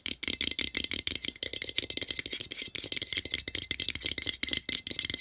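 Fingertips and nails rapidly tap and scratch the metal lid of a small, hollow-looking cylindrical metal tin with a colorful printed wrap and an exposed metal end. About 29 quick, dry, bright clicks rattle out with almost no low end, each dying away almost instantly, with a thin tinny ring near 3.2 kHz.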